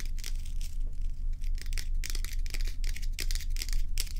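Long stiletto acrylic nails on both hands tap and scratch the sides of a large solid ice block held on a towel. Quick, bright crackling scratches and sharp clicks come in a loose, uneven rhythm over a steady low hum that runs throughout.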